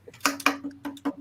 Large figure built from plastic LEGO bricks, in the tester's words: if you knock on him he's definitely hollow